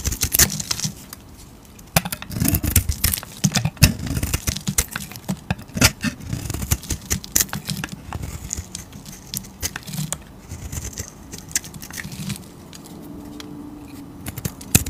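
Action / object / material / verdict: scrape / bar of soap cut with a blade / soap / none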